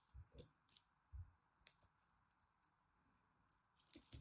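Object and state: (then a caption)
Bar soap being cut. A blade cuts and scrapes small cubes out of a solid green soap bar with a scored pattern. It makes a quiet series of soft, low, squishy crunches with bright crackling ticks, separated by short near-silent pauses.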